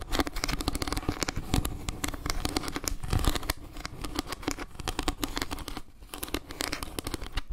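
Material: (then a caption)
Wood. Long painted nails rapidly scratch and tap the slices of a round, solid wooden log-slice trivet carved with a maple leaf. Dense, dry scratches and quick clicky taps overlap continuously, over a soft, low woody thud with very little ring.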